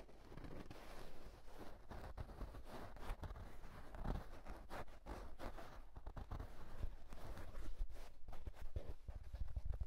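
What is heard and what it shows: Fingertips and short nails scratch and rub the crown of a soft houndstooth wool tweed fedora-style hat, hollow and empty and held in hand. The result is a dense, irregular run of soft, dry scratching and brushing, with a heavy low thump under it and no distinct ring.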